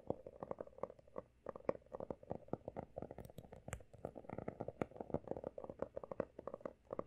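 Fingertips and nails tap and scratch the solid, pale blue embossed cover of a closed, textured hardcover notebook. A quick, steady run of short, dry taps with a hollow mid-pitched knock is interlaced with faint scratching. The sound is soft and close, with almost no ring after each tap.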